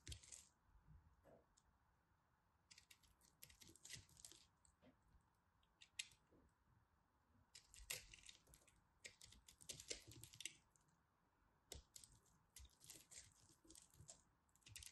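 A small knife scrapes and cuts pieces off a pastel pressed soap ball held by fingers with long red nails. Bursts of bright, crisp scraping and crumbling clicks come in clusters between quiet pauses, with a steady faint hum underneath.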